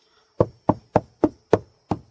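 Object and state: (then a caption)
Hollow RV wall between studs. Six knocks on a Class C RV wall panel, tapping a spot between studs with no stud behind it. Each knock is a short, dull, hollow thud centered in the low mids that dies away almost at once. The result is the hollow sound of an empty wall section.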